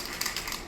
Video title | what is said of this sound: What to do if your client doesn't like your sample piece (Fly Fishing Commission Take 2) | if you start shaking it and don't hear that ball bearing, you got a lot of work to do